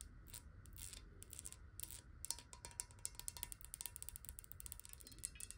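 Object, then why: Glass bottle with some water. Long nails tap rapidly on the base and sides of a clear, hollow, square glass water bottle holding some water. The result is a quick run of short, bright clicks with a faint glassy ring, over a steady low rumble.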